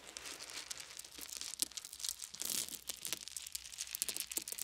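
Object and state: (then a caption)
Wooden beads. Fingers stir a pile of small wooden beads on a blanket, then scoop handfuls into both cupped hands. The result is a quiet, continuous stream of bright, crisp clicks and rattles, with sharper taps now and then and a brief rushing swell in the middle.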